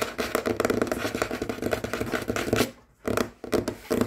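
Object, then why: Wooden tabletop. Short fingernails of both hands scratch and tap fast across a large, solid, dark wooden tabletop. The result is a dense, rasping scratch texture dotted with quick taps. It stops briefly near the three-second mark, then resumes in short bursts.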